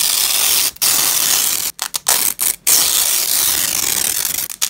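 Black nitrile-gloved hands peel apart the two sides of a long, thin, flexible purple nylon hook-and-loop (velcro) strap lying on a grey fabric cloth. Bright, high, crackling ripping sounds come in long tearing pulls broken by brief silent pauses, with a few short choppy tears in the middle.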